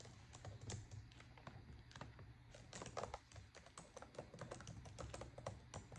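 Both hands with long, decorated acrylic nails type on a black plastic laptop keyboard, producing dense, rapid key clicks. The clicks are short and sharp over a steady low background rumble.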